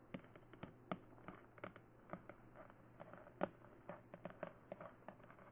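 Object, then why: Plastic dummy head. Long nails tap on the sides, back and top of a glossy black hollow plastic dummy head microphone. They make a quick, irregular run of short, dry clicks with a faint hollow knock in the midrange. The taps are quiet and die away almost instantly over a steady low hum.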